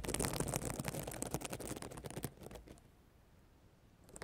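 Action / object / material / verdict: scrape / plastic sequin notebook cover / plastic sequins / none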